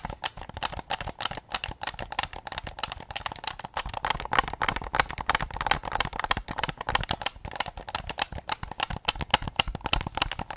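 Fingertips tap rapidly and continuously on the rear shell of a white PS5 controller made of hollow plastic. The result is a dense run of short, dry, hollow plastic clicks centered around 850 Hz, with bright high edges and almost no ring after each tap.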